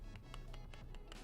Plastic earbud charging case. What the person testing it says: Bagian tempat casnya padat. Oke, padat semua.